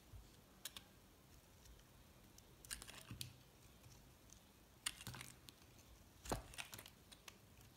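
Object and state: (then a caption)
Soap bar scraped with a blade. A metal box-cutter blade scrapes across the top of a solid purple, pink and white recycled soap bar. It makes a series of short, dry, crisp scraping strokes with bright, high edges over a low, quiet background hum.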